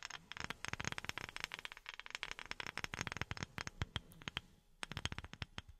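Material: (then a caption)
Wood. A wooden object is tapped rapidly with silicone rubber pads worn on the fingertips. The result is a dense run of short, dry, bright clicking taps with a soft low thump, each dying away almost instantly, with a brief pause near the end before the tapping resumes.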